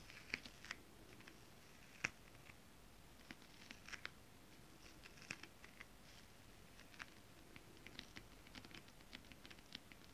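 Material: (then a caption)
Fabric. Long nail tips tap with both hands on flat holographic fabric printed with mermaid scales. Quiet, irregular clicks land in a loose, uneven pattern, each very short and bright with no ring. They sit over a soft, steady low hiss.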